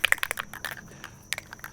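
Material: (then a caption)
Metal. A can of Plasti Dip rubber coating spray is shaken before being sprayed onto EVA foam. The mixing ball inside rattles as a run of sharp, bright clicks, dense at first and then more spaced out, with a faint steady high tone underneath.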